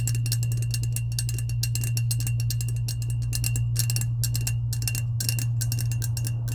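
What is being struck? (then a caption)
Insulated stainless steel tumbler with powder coating. Long acrylic nails tap rapidly and unevenly on the coated side of a medium lilac, hollow, insulated powder-coated stainless steel tumbler. Bright, clicky ticks come in quick bursts over a steady low hum. A faint tone sits around 2.7 kHz throughout.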